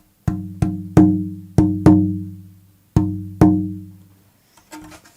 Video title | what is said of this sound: Making a Selmer Guitar - Part 7 - Shaping Braces | you can kind of hold on this sound hole, and it allows the top to be pretty free.